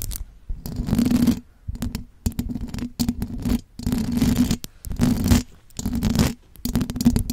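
Long blue acrylic nails scratch and tap the silver perforated metal mesh grille on the hollow head of a large condenser microphone. Close, rough scraping bursts with a low rumbling body and a steady hum near 238 Hz come in uneven strokes, separated by brief near-silent pauses.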